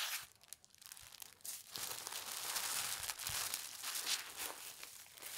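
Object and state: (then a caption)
Tissue paper sheet. A single large, thin sheet of white tissue paper printed with green leaves and red berries lies flat on a fabric tablecloth while long red-painted nails and fingertips rub and smooth it. Soft, bright crinkling and rustling rise and fall in quick, uneven strokes. The sound is mostly high with almost no low end.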